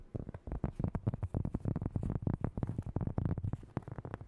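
A large, thin, solid round cork board or coaster is tapped and scratched quickly with long nails and fingertips. The result is a fast, uneven run of soft, dull, low taps that die out almost at once, with brief scratchy rustles between them.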